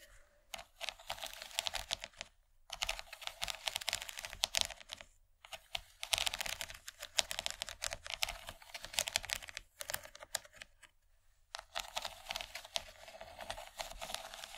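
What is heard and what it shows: Long nails tap rapidly along the raised ridges of a large, empty yellow plastic tray. The result is dense, bright, crisp clicking with very short decay, arriving in bursts separated by brief pauses and carrying almost no low end.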